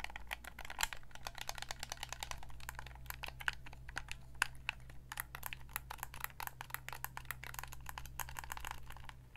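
Long nails tap and click rapidly on the buttons and shell of a white Xbox 360 gamepad, a hand-sized, hollow controller of hard plastic held in both hands. The dense stream of short, dry, bright clicks barely rings, over a steady low hum.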